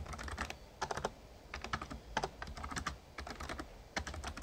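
Fingertips type steadily on a full-size, backlit, plastic Razer Ornata Chroma mecha-membrane gaming keyboard. Quick bursts of soft, muted clicky clacks come in uneven clusters over a low background hum, each keystroke short and dry with almost no ring.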